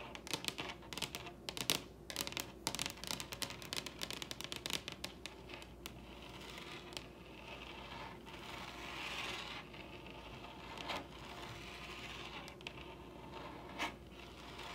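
Long red nails on both hands tap very rapidly on a large, solid wooden tabletop, making a dense run of sharp, bright clicks. After about six seconds the tapping gives way to a softer, continuous scratchy brushing. A few isolated louder taps stand out near the end.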